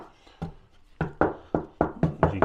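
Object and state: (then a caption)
Hollow floor deck between joists. Eight knocks on a 22mm-thick floor deck between the joists give short, dull, low thuds with little ring, and the floor sounds hollow. The knocks check the spot before a hole is cut there with a 127mm hole saw to pull data cables through the void underneath.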